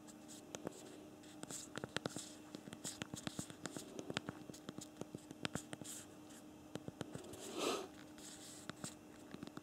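Thumbs type on the physical plastic QWERTY keyboard of a BlackBerry Priv smartphone, producing a quick, irregular run of short, dry key clicks with bright, high-reaching edges. A steady low hum sits underneath, and a brief louder rustling swell comes near the end.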